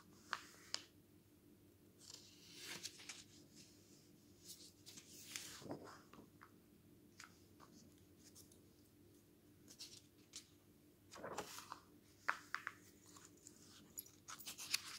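Bare fingertips turn the thin pages of an open glossy paper magazine lying flat on a wooden table, then rub and smooth them flat with the palm. Quiet, bright papery swishes and crisp rustles come in short bursts, with sharp little clicks and flutters. A faint steady low hum runs underneath.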